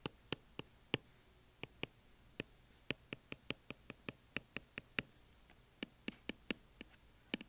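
A white Apple Pencil's plastic tip, held in one hand, taps and scribbles on the glass touchscreen of an iPad lying flat on a desk. About 25 short, dry clicks land at uneven intervals over quiet background hiss. Each click is bright with almost no ring.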